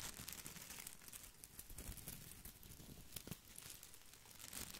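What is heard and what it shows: Fingertips scratch and brush the glossy plastic leaves of an artificial boxwood ball held close to the mic. The result is a continuous, quiet, crinkly rustle with bright, scratchy crackles over a soft low rumble. A few sharper snaps stand out near the three-second mark.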